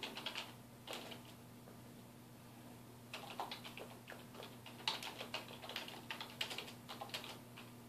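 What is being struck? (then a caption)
Plastic computer keyboard. A black plastic computer keyboard on a wooden desk is typed on with the fingertips of both hands, giving quick, bright key taps that each die away almost at once. A short burst of typing is followed by a pause of about two seconds, then a longer, denser run of taps, all over a faint steady low hum.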